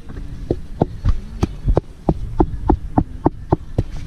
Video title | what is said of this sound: très très haut et prêt a tomber🤔😰 https://fld-elagage.fr/ | Écoutez. Ça sonne creux. Voilà.